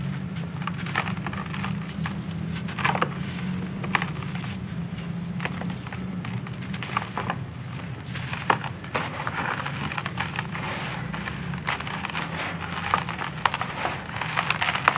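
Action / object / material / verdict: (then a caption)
scrape / sandy clay lumps / sandy clay / none. Bare hands crush and crumble solid, dry, grainy sandy clay lumps in a red plastic basin, releasing dust and falling grains. Dense, dry crunching and crackling run throughout with many sharp snaps over a steady low hum.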